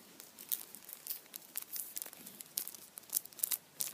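A hand-sized Kinder chocolate Easter bunny, standing upright in printed aluminium foil, has its foil squeezed and crinkled with fingertips. The result is a quiet, bright stream of sharp crinkles and crackles with almost no low end, each snap dying away instantly.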